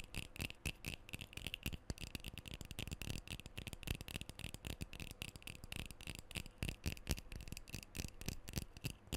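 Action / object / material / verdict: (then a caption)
tap / metal aerosol spray can / metal / none. Fingernails tap and scratch the body and bottom end of a black metal aerosol deodorant can held close to the microphone. The result is a rapid, irregular run of short, dull, low taps, each carrying a brief bright metallic ping near 2.5 kHz, mixed with scratchy friction. Every tap dies away almost at once.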